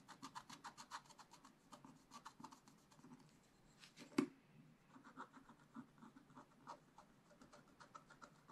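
A wooden stylus scratches the black coating of a flat scratch-art page in a spiral-bound book. It makes a quick series of short, dry scratching strokes with a bright, raspy edge, and one sharper, louder scrape near the middle.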